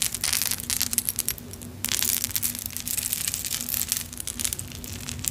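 A long vintage necklace on a metal chain, with small solid clay kitchen charms and metal bead charms, hangs from one hand and is jostled with long acrylic nails and fingertips so the charms clink together. The result is a dense, bright stream of quick clicks and rattles that pauses briefly near the middle, over a faint steady low hum.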